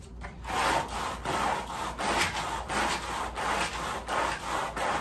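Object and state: Woven fabric rug being scrubbed.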